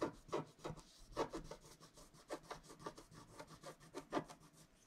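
A wooden stylus scrapes the wax coating of a flat scratch-art card (wax-coated paper), working over the trunk and figure of the drawing. It makes a quiet series of short, dry, raspy strokes with a papery hiss that brightens on each pass. The strokes come in an uneven rhythm with brief pauses between them.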